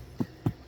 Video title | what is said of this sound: Exciting News: Mars Hydro 15 Year Anniversary Winner! #marshydro | you can hear it's like knocking on wood almost